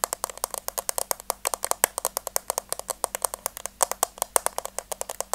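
Long teal nails tap and scratch the top of a hollow, rectangular pink plastic case with a white rim, held flat in one hand. About 45 quick, dry, clicky taps come in a steady, uneven patter, each bright and sharp with almost no ring. Light scratchy sounds fill the gaps between them.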